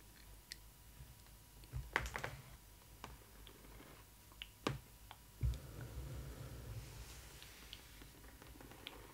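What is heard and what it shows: Long nails tap and scratch the glossy side panel of a large, hollow printed cardboard box for a Disney ILY 4ever Stitch doll, with Stitch artwork on it. Sharp, dry clicks with almost no ring are scattered over a low rumble, with louder clusters of taps in between. Softer, rougher scratching textures rise and fade across the surface.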